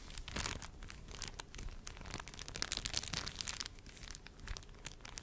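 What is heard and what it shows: A thin, flexible, slightly frosted sheet of clear plastic film is held in both hands and wrapped around the front of a microphone while fingertips press and rub it. It makes a dense, close-up stream of bright crinkling and crackling with short crunchy snaps over a soft low rumble. The crinkles rise and fall in bursts with no ringing tail.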